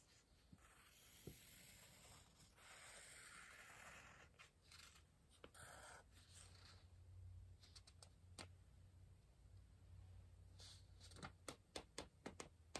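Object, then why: Pencil on paper book page. A pencil scratches lines across the page of an open softcover paper word-search book resting on a pillow. Soft, breathy scratching strokes rise and fall over a low, steady rumble. Near the end come a series of sharp, bright ticks.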